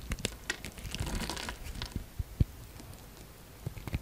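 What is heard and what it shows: A utility knife blade scores and shaves a solid orange bar of soap, making dry, crinkly scraping strokes mixed with soft, short ticks and taps as chips fall away. The sharpest tap lands near the middle, then the cutting quiets before a few final light clicks.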